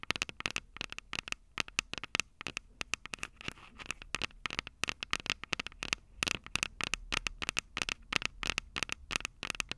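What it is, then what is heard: Metal microphone capsules tapped with nails. Long purple acrylic nails on both hands tap and scratch the two small, hollow, silver metal mic capsules on top of a handheld Tascam DR-05 recorder standing on a table. Dozens of rapid, dry clicks and scratchy crackles sound with almost no ring, bright and thin with a faint tone around 2.7 kHz and very little low end.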